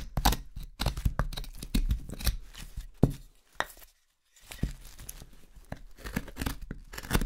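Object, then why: Wooden spoon blank. A carving knife shaves the outside of the bowl of a solid, pale wooden spoon blank held in the hand, making a series of crisp, short cutting scrapes with a bright edge over a heavier low thud. The strokes come in quick bursts, pause into a brief silence midway, then resume in a steady rhythm.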